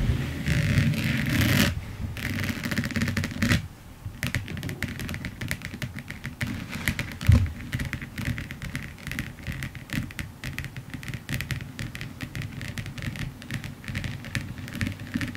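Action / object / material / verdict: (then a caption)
tap / resin diamond painting on canvas / resin / none. Long nails tap and scratch across a large finished diamond painting lying flat, its canvas covered in tiny faceted resin drills. A louder, rougher scraping opens the clip for about four seconds, then gives way to a quieter, uneven patter of rapid dry clicks and brief scratches that continues to the end.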